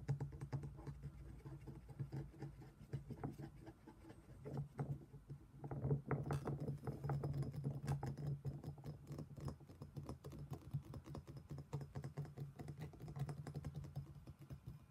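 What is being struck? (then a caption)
Stone mortar and pestle. A black stone pestle held in the hand taps and scrapes inside an empty black stone mortar, a hollow thick-walled bowl. The result is a quick, irregular stream of soft, low, knocking taps with brief scraping between them, each dying away almost at once.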